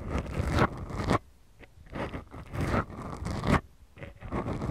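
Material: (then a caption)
Foam. Long glittery manicured nails of both hands scratch and rub two small, soft, porous black foam windscreens on the mic capsules of a Tascam DR-40X recorder. The result is close, bassy, rasping scratch bursts with a brief quiet pause near the middle and another near the end.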